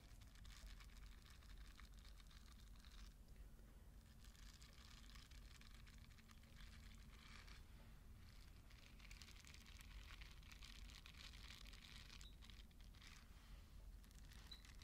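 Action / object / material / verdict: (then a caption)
scrape / silicone bath scrubber with soft bristles / silicone / none. A small purple silicone bath scrubber with soft bristles and a loop handle is held in one hand in front of the mic while fingertips and long nails scratch and flick its bristles. The result is a steady, quiet stream of bright, crackly rustling that swells and dips in short bursts over a constant low rumble.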